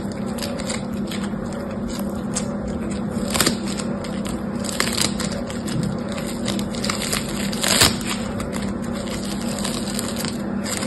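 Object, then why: Foam bead slime. Yellow-green foam bead slime (floam) is squeezed, torn in two and pressed back together with fingertips. It gives a dense, continuous crackle of tiny pops over a steady low hum, with a few louder, brighter bursts of crackling along the way.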